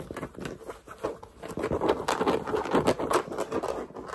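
Fingertips and nails tap and scratch the stiff brim, which has a sticker on it, and the crown of a black structured New Era fitted cap held in the hands. The result is a fast, uneven run of dry, muffled taps and scratchy rubs, pitched in the mid-range, with almost no ring after each hit.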